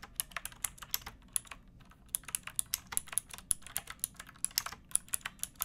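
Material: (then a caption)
Plastic. A pink backlit plastic mechanical keyboard with round typewriter-style keycaps and a hollow case is typed on with fingertips and long painted nails. About 32 sharp, bright, clacky keystrokes come in a quick, uneven rhythm, each dying away almost instantly, with a brief lull near the two-second mark. The typing is soft and quiet overall, with little low-end.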